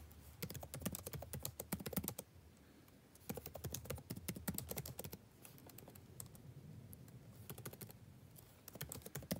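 Fingertips of both hands type fast on a backlit laptop keyboard with plastic keys. Quick bursts of soft, clicky taps carry a dull low thump under bright, crisp clicks, broken by brief pauses between runs.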